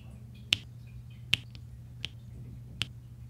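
A pink plastic drill pen taps small solid resin drills into rows on a flat diamond painting canvas, after a white plastic roller presses the drills down. Four sharp, bright clicks centered near 3 kHz land at uneven intervals, each dying away almost instantly. A low, steady hum runs underneath throughout.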